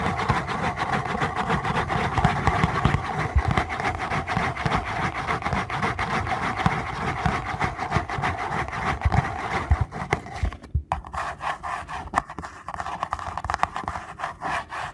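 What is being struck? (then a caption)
Small paperboard box. Fingernails scratch and rub the front and edges of a small paperboard box held close, making a dense, continuous rasping texture with a steady mid-range hiss and low rumble. Around ten seconds in, the scratching briefly cuts out, then continues more softly in sparser, separate strokes.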